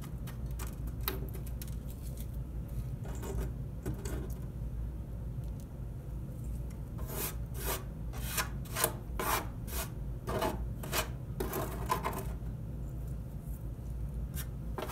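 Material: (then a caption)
Oak wood. Fingertips and nails scratch and rub the bottom of an empty, open oak dresser drawer, a hollow box shape. Short, dry rasping strokes with bright edges come in quick bursts, densest in the middle of the clip, over a steady low rumble. The strokes stop short with no ring, leaving only the quiet low background at the end.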